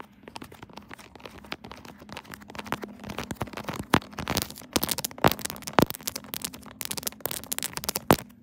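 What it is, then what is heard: Silicone pop-it phone case. Long nails tap and scratch on a pink silicone pop-it phone case mounted on a tripod, while a hand presses over the bubbles. A dense stream of quick, dry clicks and crinkly scratching runs over a steady low hum near 200 Hz. A few sharper, louder snaps stand out toward the middle and end.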